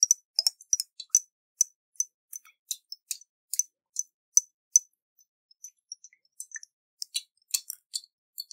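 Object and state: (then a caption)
Glass jar with water. Fingernails tap a round hollow glass jar with a metal lid and water inside, held in the hands. About two dozen short, bright, high clinks with almost no ring, coming in an uneven rhythm with a brief lull midway. There is no low end at all.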